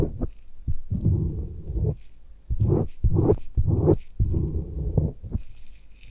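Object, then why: Silicone microphone ear scraped with a thin metal blade. A thin metal blade on a handle, held in a gloved hand, strokes near the canal and antihelix of a white silicone binaural microphone ear held by a bare hand. The result is light scraping heard as low, muffled rubbing swells with soft thumps, concentrated in the low end.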